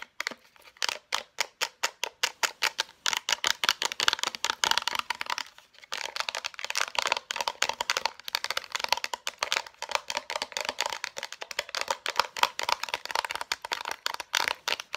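Long nails tap and scratch rapidly on a concealer's blister pack, a printed cardboard backing with a clear plastic shell. The result is a fast, steady stream of bright, crisp plastic clicks and crinkly scratches, with a brief pause near the six-second mark.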